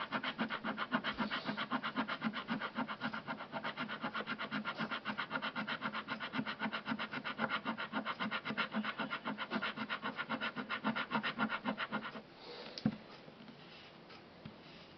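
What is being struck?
Thin printed cardboard card with scratch-off coating.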